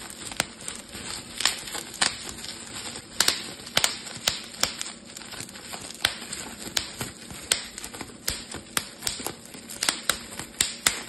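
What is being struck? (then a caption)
Plastic bubble wrap sheet. A clear plastic bubble wrap sheet is held in both hands while its bubbles are squeezed and popped with fingertips and thumbs. Sharp, bright pops snap out at irregular intervals over a steady crinkling rustle of the plastic, each pop dying away almost instantly.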